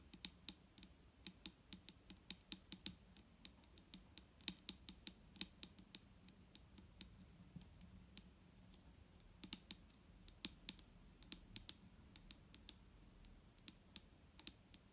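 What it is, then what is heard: Plastic bottle of micellar water. Long nails of both hands tap quickly and irregularly on a large, clear plastic micellar water bottle with a green cap, full of liquid and lying on a wooden table. Many short, sharp, bright clicks sound over a quiet, steady low hum, each one dying away almost at once.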